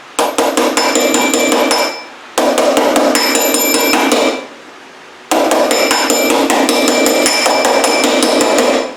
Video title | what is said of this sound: Triumph Spitfire Restoration - Door Body Work | that hit of the dolly, that metal to metal hit. You don't really want to hear a hollow sound.